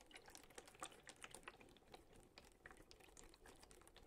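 A clear plastic water bottle with a little water inside is tapped with fingertips and lightly crinkled in the hand. Quick, soft taps and plastic crackles run continuously over a faint steady background, each click dying out almost instantly with bright, high edges.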